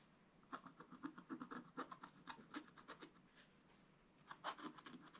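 A wooden stylus scratches the black coated page of a scratch-art spiral book, working strokes over the tractor picture. A quick run of short, dry scratching strokes is followed by a brief pause and then a second burst, each stroke a bright, papery rasp with almost no ring.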